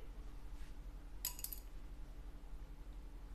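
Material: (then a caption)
Plastic. A plastic guitar saddle, one of the saddles being compared for a Cort AD810 upgrade, is dropped again in a second round of drops. It lands with two quick, bright clicks about a fifth of a second apart that fade almost at once. A steady low hum runs underneath.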